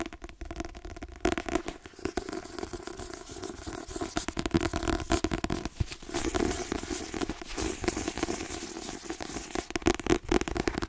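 Fingertips and nails tap quickly on the glossy card cover and spine of a white paperback book. The result is a dense, steady patter of short, dry taps with a dull low body and bright clicking edges, each tap dying away almost instantly.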